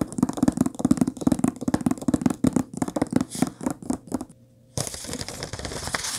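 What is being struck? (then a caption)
Paper book pages. Long painted nails rapidly tap and scratch the printed paper pages of an open book lying on a table, making a quick run of soft, papery ticks and rustles. After a brief pause, a steady, bright scratching hiss continues across the pages.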